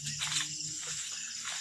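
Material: Nothing is struck.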